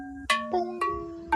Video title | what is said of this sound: We Grow Wednesday 6/3/26, Health & Wellness News, Food & Growing News, Science & Tech News | Pots are shaped like an upside down bell, so when you tap it with your finger or a ring, you should hear this